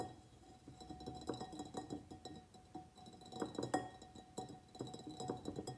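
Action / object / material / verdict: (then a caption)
tap / ceramic plant pot / ceramic / none. A medium white ribbed ceramic pot holding a begonia in soil is tapped around its sides with the fingernails of both hands. The result is a quiet, rapid run of light, clicky taps with a faint, short ceramic ring centered near 740 Hz, rising and falling in loose bursts.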